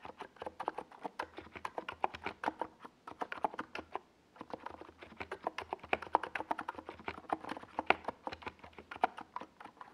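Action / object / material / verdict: tap / mechanical keyboard with tall plastic keycaps / plastic / none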